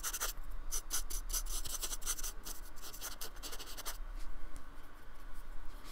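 A thin paintbrush with a metal ferrule is stroked and scratched across the bumpy painted surface of a small, solid, flat slab of white polystyrene foam lying on a wooden table. One hand holds the slab steady. Quick, dry, bright scratching and rubbing strokes repeat over a low rumble, and the strokes become softer and more scattered toward the end.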